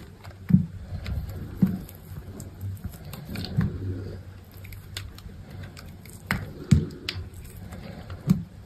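A utility knife blade shaves thin flakes off a hand-sized bar of solid green soap with black marbling. Soft, dull scraping strokes sit low and muffled, broken by occasional sharper crisp cuts as flakes come away.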